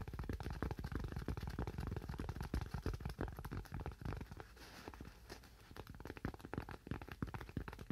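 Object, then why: Thin curved styrofoam sheet. A thin, curved white styrofoam sheet, held in both hands, is tapped and scratched with fingernails in rapid, uneven bursts. The taps land as dull, low-heavy thuds with a very short ring, and around the middle they ease into a quieter, scratchy stretch before the tapping picks back up.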